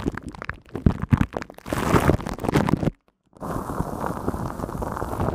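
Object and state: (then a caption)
Metal microphone mesh grille. Long nails scratch the hollow, silver woven metal mesh head of a studio microphone, giving low, rumbling, crackly scrapes. Separate strokes come first, then denser continuous scratching, and a brief silence. It ends in a steady, brighter, hissy rubbing as a sweater sleeve partly covers the hand.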